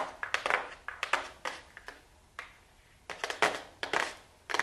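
A small, flat, hollow, closed gold cardboard makeup box is held in the hands and tapped and scratched with super long blue acrylic nails. Quiet, dry clicking taps come in quick clusters with short rough scratching bursts between them. The sound is thin and papery with a bright midrange, no low end, and almost no ring after each tap.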